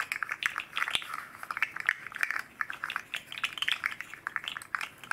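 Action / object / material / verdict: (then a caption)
shake / segmented hard plastic fidget slug toy / plastic / none. A hand-sized red and green hard plastic articulated fidget slug with hollow jointed rings is cradled in both palms and rocked and bent, its segments clacking together while a second slug rests untouched nearby. The result is a rapid, irregular stream of short, dry plastic clicks and clacks, mostly midrange with bright edges, each dying out almost instantly with no low end.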